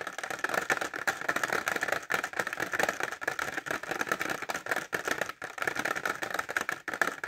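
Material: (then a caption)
Plastic. Short fingernails tap rapidly on a clear plastic pencil case filled with pencils, held upright. The result is a dense, continuous stream of crisp, dry clicks with a faint rattle, centered in the upper mids around 1.7 kHz, with almost no low end and no ring after each tap.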